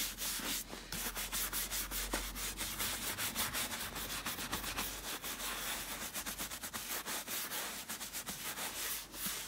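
A small bristle brush rubs quickly back and forth over the toe and vamp of a clean tan leather boot, which is hollow and empty and held up by the foot. The strokes make a steady, bright, scratchy hiss that pulses with each pass and has little low end.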